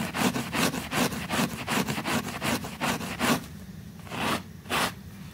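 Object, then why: Woven fabric rug in soapy water. A small, flat pink woven textile rug sits in soapy water, held down by a finger while a white bristle brush scrubs it vigorously. Rapid, bright, wet scraping strokes repeat about two to three times per second, then thin out into a few slower, separate swipes with quieter gaps.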